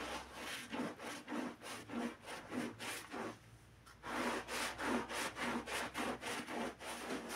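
A gloved hand scrubs a wet, foamy black-and-red pile rug with a handheld bristle brush. Rhythmic back-and-forth brushing strokes make a bright, gritty swishing hiss with a faint low tone, pausing briefly near the middle before the scrubbing resumes at a steady pace.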